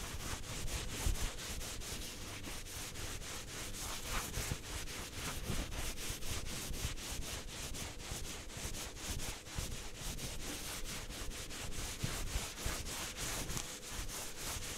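Fingers and palms rub and brush the surface of a soft blue microfiber cleaning cloth held in the hands. The result is a steady, quiet stream of rapid, rhythmic brushing strokes with a soft, airy hiss bright in the highs over a low, muffled rumble.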